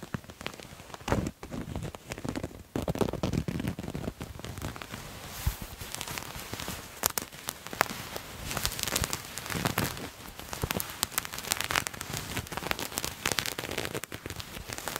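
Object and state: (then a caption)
Patterned fabric garment being scratched. Fingernails scratch and rub a purple patterned fabric garment held close to the mic in both hands. The result is a continuous dense crackle of fine, rain-like rasps and soft rustles, with brief louder scrapes scattered throughout.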